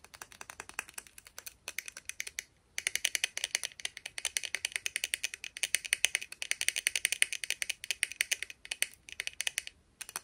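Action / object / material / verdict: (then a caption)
flick / plastic round hairbrush with nylon bristles / plastic / none. Long painted nails rapidly pluck and scratch the teal-tipped nylon bristles near the base of a plastic round hairbrush with a black and teal handle, held by the handle. The result is a fast, steady stream of dry, bright ticking clicks with almost no low end, broken by a few brief pauses.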